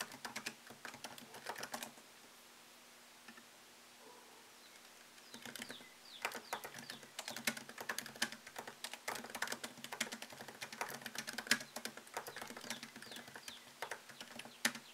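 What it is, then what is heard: Laptop keyboard typing. Fingertips tap the plastic keycaps of a MacBook Pro laptop keyboard set in an aluminium body, producing quick, bright, dry clicks in fast typing bursts. The typing runs for about two seconds, pauses for roughly three seconds under a faint steady low hum, then resumes and continues densely to the end.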